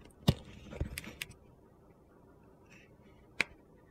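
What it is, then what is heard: Bar soap being shaved with a knife. A utility knife slowly shaves thin curls off a solid orange soap bar with pink glitter. Four short, crisp cuts are heard, each a quick low thud with a bright, dry scraping edge that dies away almost instantly, separated by near-silence.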